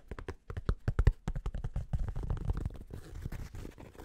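A black snapback cap with a flat purple underbrim is held upside down while fingertips and nails tap quickly on its stiff, flat brim. The taps are fast, irregular, dull and thuddy, with a short low thump to each and almost no ring. They blur into a softer, continuous scratchy rustle toward the end.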